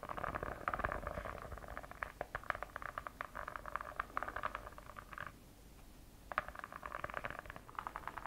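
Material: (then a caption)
Faux leather. Long acrylic nails scratch rapidly across the textured purple faux-leather cover of a solid, hand-sized notebook with a snake-pattern finish, held close to the mic. The result is a dense, raspy scratching concentrated in the midrange with quick clicky transients. The scratching pauses briefly for about a second near the end, then resumes.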